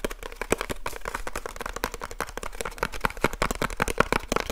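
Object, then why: Small cardboard box. Fingertips rapidly tap on the flat face of a small hollow cardboard light bulb box held in both hands close to the mic. The result is a fast, uneven stream of dry, papery clicks with a hollow midrange knock around 1.4 kHz and almost no ring after each tap.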